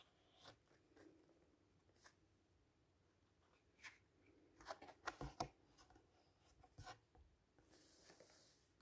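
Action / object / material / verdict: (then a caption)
scrape / paper pages of a hardcover book / paper / none. Fingertips and a flat hand rub along the paper page of a large open hardcover fairy-tale book with a red ribbon bookmark, lying on a table, then lift and turn it. Quiet, scattered dry brushes and soft papery scrapes build to a cluster of louder, crisp crackles midway. The clip ends in a sustained, airy, high hiss as the page is turned.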